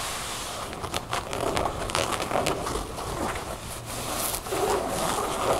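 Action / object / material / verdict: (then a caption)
scrape / cotton denim jeans / denim / none. Long painted nails scratch and tap on folded light-blue ripped cotton denim jeans lying on a wooden table. A steady, dry, bright scratching hiss runs throughout, broken by quick, irregular soft taps and short swishes of the fabric.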